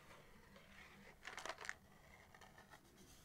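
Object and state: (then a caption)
Cardboard matchbox. Long, dark-painted nails scratch and tap the printed cardboard surface of a small, likely full and closed box of 250 wooden matches held in both hands. Faint, dry scratching gives way to a brief cluster of crisp, bright taps and scrapes near the middle, then the sound settles back to a soft, quiet rustle.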